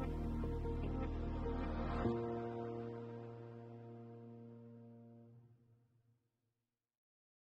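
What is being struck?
Nothing is struck.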